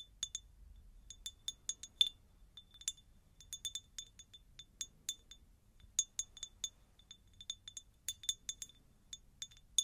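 A medium, hollow, empty faceted cut-glass jar is tapped with long nails in quick, irregular bursts. Each tap gives a short, bright, glassy clink centered near 3.5 kHz with very little ring, against a quiet, faint background.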